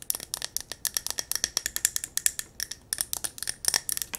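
Long nails tap fast on a small silver mercury-glass jar candle held in the hands, striking its yellow wax top, glass sides and metal rim. About 29 quick, bright, clicky taps come in an irregular rapid stream, each dying away almost instantly with almost no low end.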